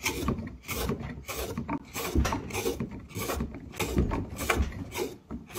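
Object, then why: Pine block with a carved hollow. A handheld metal hook knife scrapes and carves the inner surface of a deep hemispherical hollow in a square pine block, empty apart from shavings. Repeated rough, rasping strokes come in uneven bursts, each a broadband scrape with a dull low body and a bright, airy edge.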